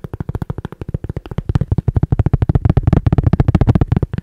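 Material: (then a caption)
Cork. A round, flat, solid cork disc about the size of a coaster is held between the fingers close to the mic while fingertips and nails tap and scratch its edge and face. A quick, uneven stream of short, dull, low knocks comes through with almost no bright content, each tap dying away at once.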